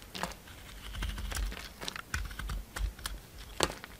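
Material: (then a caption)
Soap. A utility knife shaves the green glitter coating off a solid round soap with a pale green core. Quiet, dry scraping and cutting strokes come as short, crisp, bright ticks over a low rumble, each dying away almost at once.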